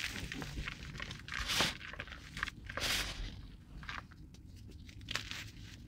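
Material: Cornstarch.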